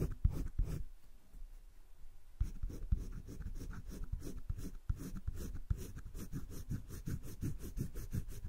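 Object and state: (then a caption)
Pencil shading on sketchbook paper. A hand scratches a green colored pencil over thick cream drawing paper in a spiral-bound drawing book lying flat, shading along a leaf outline. Soft, dry scratching strokes with low, muffled thumps ease into a quieter pause, then resume as a quick, steady run of back-and-forth shading strokes.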